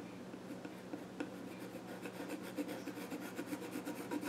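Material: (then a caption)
Wood. A pencil scratches and rubs lines across the grain on the flat top of a small wooden child's stool. Quiet, dry rasping strokes repeat in a loose, uneven rhythm over a faint steady low hum, growing slightly busier toward the end.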